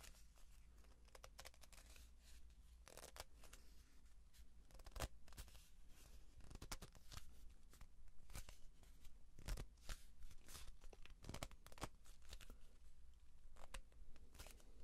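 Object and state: Cardboard tube.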